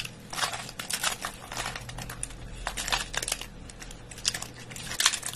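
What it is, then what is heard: Dry soap flakes. Bare fingers and a palm squeeze and crush handfuls from a pile of thin, brittle dry soap curls. The flakes give off dense, bright crackling and crunching in repeated bursts, with sharper snaps near the end over a faint low hum. The chips crackle and break apart under the grip.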